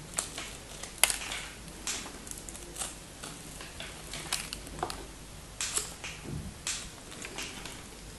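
A knife blade scrapes and cuts into the end of a solid pink bar of soap with white stripes, scored with crosshatch cuts, sending small flakes falling. Crisp, bright scraping clicks and crunches come in irregular bursts over a quiet background, each snapping off quickly.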